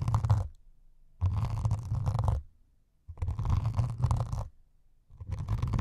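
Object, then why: Melamine foam sponge. Two needles held at an angle scratch across the foam surface of a solid white melamine sponge with a grey foam top, placed in front of the mics. The scratching comes in four bursts separated by short silences, with a low, rumbling scrape concentrated in the bass and a faint brighter rasp over it.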